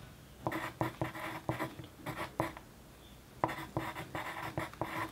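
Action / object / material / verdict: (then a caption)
scrape / paper sheet under a wooden pencil tip / paper / none. The tip of a wooden pencil scratches across a flat white paper sheet lying on a desk during continuous writing. Short, dry, papery strokes come in quick bursts, pause for a moment of near silence, then resume at the same steady pace.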